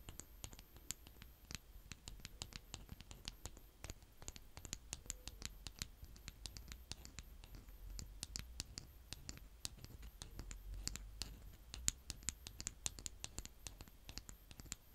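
A hand with painted nails cuts and scrapes brown kinetic sand with the flat green plastic scoop end of a toy tool, close up. The result is a steady stream of crunchy, crackling scratches with sharp, bright clicks and very short decay over a soft low rumble.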